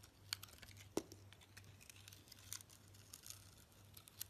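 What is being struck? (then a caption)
Bar of soap cut with a knife blade. A handheld rectangular bar of soap, with a green sugary or glittery coating and an orange interior, is cut and sliced with a utility knife blade. Quiet, bright crackling and crisp scraping run throughout, broken by sharper clicks, with one hard, lower snap near the one-second mark. A steady low hum sits underneath.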